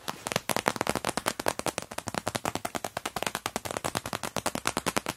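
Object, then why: Clear vinyl pouch filled with crumpled tissue paper. Long-nailed fingertips rhythmically press and tap the clear vinyl pockets of an open PVC cosmetic pouch stuffed with crumpled tissue paper. A rapid stream of sharp, bright crackles and clicks repeats steadily throughout, each dying away almost instantly.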